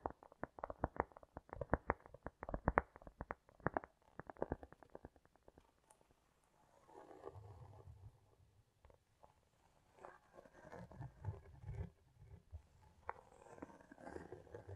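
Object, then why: Cork disc. A round solid cork disc, tilted on a rug, is tapped and scratched with long nails, with an echo effect on the sound. The first few seconds are quick, dry clicking taps, followed by softer, low, rumbling scratching strokes that swell and fade.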